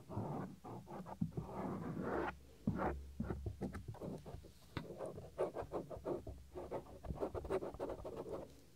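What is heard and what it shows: Fingernails scratch along the edge of the small, solid, white soft silicone ear cover on a 3Dio binaural microphone. The result is close, dry scratching and rubbing in quick uneven bursts, with a low, muffled rumble beneath and brief bright ticks.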